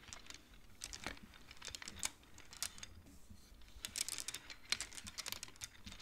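Fingertips of both hands slide the colored wooden beads along the metal rods of a large wooden-framed abacus. The result is a quiet, irregular stream of short, dry, bright clacks that come singly and in quick clusters, each dying away almost instantly.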